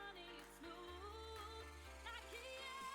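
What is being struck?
Nothing is struck.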